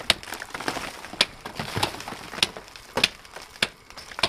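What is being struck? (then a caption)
Rock salt wall struck with a pick. A wooden-handled replica mining pick strikes a large, solid rock salt wall in a mine gallery again and again, lit by a head lamp. The knocking, chopping blows come at an uneven pace as sharp, bright cracks with a gritty crunch and almost no ring. Fainter scraping and crumbling fill the gaps between strikes.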